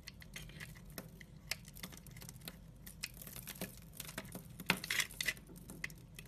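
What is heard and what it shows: A utility-knife blade scrapes across a solid amber glycerin soap bar and cuts off shavings. Quiet, dry, bright scratching comes in quick, irregular ticks and crackles, with a louder cluster of scrapes near the end before it settles back down.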